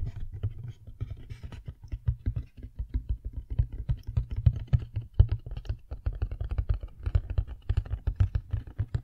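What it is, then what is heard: Empty cardboard box, hollow. Long nails tap and drum rapidly on the sides of a medium-sized black cardboard inner box with a round hole, the hollow, apparently empty packaging box of a Blue Yeti X microphone, as it is turned in the hands. The result is a dense, fast run of short, dull, bassy thumps with almost no ring.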